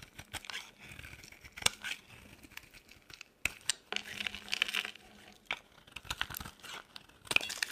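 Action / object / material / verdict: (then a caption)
scrape / bar of soap / soap / none. A metal blade shaves a solid, dry white bar of soap, and flakes crumble off. The clip is a run of bright, crisp scraping and crackling strokes with sharp clicks and short pauses between them, almost no low end, and no ring after each cut.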